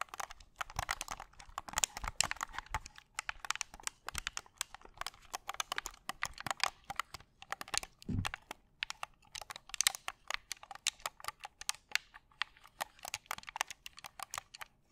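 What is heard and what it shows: A white and black hollow plastic gamepad is held in both hands while thumbs and fingers press and click its buttons. Dozens of rapid, dry, bright clicks come in uneven bursts over quiet pauses, with a brief low thump near the middle.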